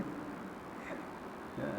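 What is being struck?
Nothing is struck.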